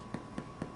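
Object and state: Breadsticks sounding hollow, baked through.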